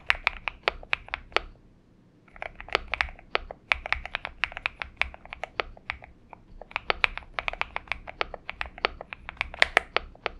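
Fingertips of both hands type continuously on a purple-backlit Xinmeng M71 70% mechanical keyboard with an aluminum case and PBT keycaps, resting on a desk mat. It makes a rapid run of sharp, bright, dry clacks with almost no low end and very short decay, and typing briefly pauses near the two-second mark before resuming.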